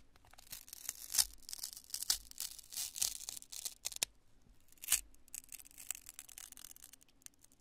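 A cream-colored, twisted chunk of cured polyurethane construction spray foam, solid and porous, is held in both hands and crushed and torn apart with fingertips and long nails. Irregular bursts of bright, dry crackling and tearing are heard, with a few sharper, louder crunches among quieter scratchy crinkles and almost no low end.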